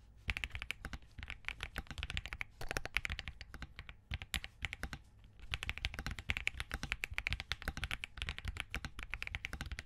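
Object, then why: Plastic mechanical keyboard. A compact Spark67 mechanical keyboard with Crane switches, green and cream plastic keycaps and a POM plate is typed on quickly with the fingertips of both hands. The result is a dense, crisp run of short, clacky key taps with a bright click around 2.3 kHz and a soft low thump, with brief pauses near the 4 and 5 second marks before the rapid typing resumes.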